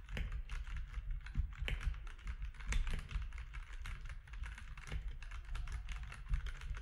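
Fingertips of both hands type rapidly on a compact plastic mechanical keyboard with grey, white and orange plastic keycaps. Quick, dry clacks with bright tops run in a steady stream, with a few louder strikes standing out. A constant low hum sits underneath.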